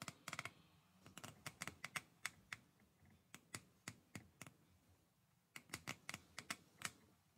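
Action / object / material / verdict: flick / plastic hair brush with plastic bristles / plastic / none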